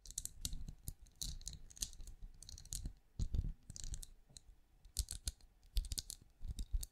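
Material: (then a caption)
Plastic. Long nails tap and scratch quickly along the ridges of a small, hollow, glowing night lamp with a ridged translucent plastic-like shell. The result is a fast run of bright, dry clicks and scratchy rasps over a soft low thump, each dying away almost instantly with no ring.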